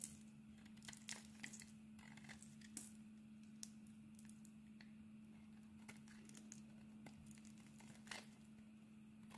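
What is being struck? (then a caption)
Bar of soap. A metal blade scrapes and carves thin slices off a black and cream solid bar of soap. Soft, crisp scraping runs throughout, broken by sharp, bright clicks and crackles as the slices come away, over a steady low hum.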